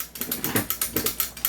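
A non-upgraded airsoft pistol is shaken, and its loose metal outer barrel rattles in a quick series of sharp, bright clicks. Each click dies away almost at once. The barrel is not fixed in place, so it knocks audibly with every shake.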